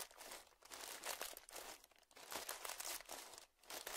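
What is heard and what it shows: A small, puffed-up clear plastic zip-lock bag lying on dark fabric is pressed and crinkled with fingertips. Bright, crackling crinkle bursts swell and fade in uneven waves, with almost no low end and a quiet overall level.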